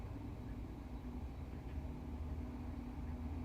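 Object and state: Nothing is struck.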